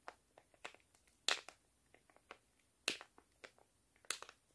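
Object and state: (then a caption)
Foil-lined plastic face mask sachet. A flat sheet face mask packet made of foil-lined plastic is crinkled, squeezed and scratched with fingers and nails. Sharp, bright crackles and short rustles come in an irregular pattern, with three louder crunching bursts standing out over quieter ticks. Each sound dies away almost at once, with near silence in between.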